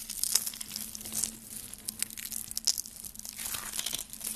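Rolled pink and green dry soap curls, hollow and brittle, are crushed between fingers with dark nails into flakes. Dense, bright crackling and crunching with sharp snaps comes through over a faint low hum, leaving the curls broken into flakes.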